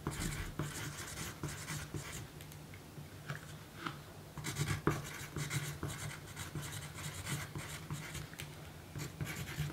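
A pencil writes continuously on a small, thin pink paper note card lying on a table, with the free hand resting flat. The graphite tip scratches across the paper in rough, bursty strokes over a steady low hum.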